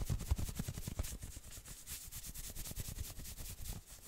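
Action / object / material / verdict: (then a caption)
scrape / knit sweater / knit fabric / none. Fingertips scratch quickly across the shoulders and chest of a worn maroon knit sweater. The result is a rapid, uneven run of rough scratching strokes with soft low thumps underneath and a bright, hissy fabric texture on top.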